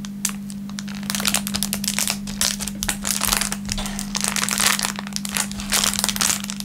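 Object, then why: Thin plastic film wrapper. An empty, thin, clear plastic film packaging bag is stretched, crumpled and crinkled between the fingertips. It makes a continuous stream of bright, sharp crackles that swell and ease over a steady low hum near 200 Hz.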